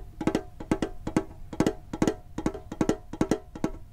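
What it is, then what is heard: Metal card tin tapped with fingertips. A hand-sized, hollow, printed metal Pokemon card tin, held in front of a microphone, is tapped with fingertips on its lid and side. Quick, short, hollow taps come in small clusters at a fast, uneven pace, each with a brief low-mid tone around 320 Hz that dies away almost at once.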